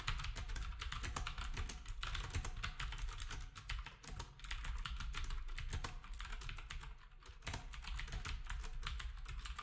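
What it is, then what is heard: Plastic round-key keyboard being typed on. Fingertips of both hands type quickly on a black, retro typewriter-style keyboard with round plastic keycaps. The keys make a steady stream of bright plastic clacks over a low, thumpy rumble, with brief lulls around the 4 and 7 second marks.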